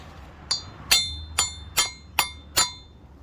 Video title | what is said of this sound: Replacing wheel stud Honda EG EK Honda Civic (92-00) - DETAILED | when you hear that really solid sound, you know it's all the way in